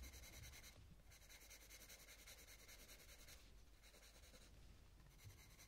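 A purple coloured pencil rubs and scratches over the petals on a thin paper colouring book page while shading. Bright, scratchy pencil strokes come in bursts with short pauses, over a steady low hum.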